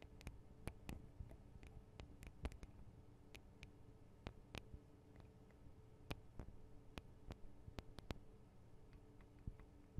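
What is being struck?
Metal and plastic microphone capsule housings.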